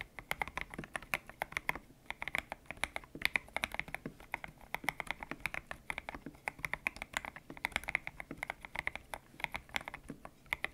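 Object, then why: Mechanical keyboard with plastic keycaps. Fingertips type steadily on a white-cased mechanical keyboard with grey and pink PBT plastic keycaps, its hollow case resting on a desk mat. A quick, uneven run of sharp, dry keystrokes clacks with a bright tone centered near 2 kHz, each stopping almost instantly, with little low-end thump.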